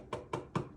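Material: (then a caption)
Glass. Three taps on a flat, rectangular glass stovetop, made so a listener can hear where the stovetop is. Each tap is a short, dull knock with a low body and almost no ring.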